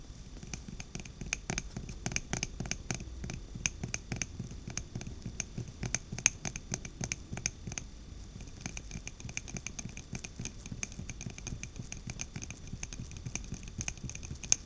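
A small glass jar candle filled with orange wax and topped with a thick glass lid is held in both hands and tapped and scratched with long black-painted nails on the glass body and lid. A steady stream of quick, dry, bright clicks and scratchy rasps continues throughout, each tap dying away almost instantly over a soft low rumble.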